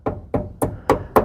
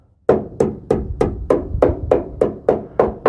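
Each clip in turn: First: Five short, dull taps on rusted sheet steel, thudding mid-low with almost no ring. Second: Eleven steady taps on steel sheet, each a firm mid-pitched knock near 500 Hz that dies in about a tenth of a second.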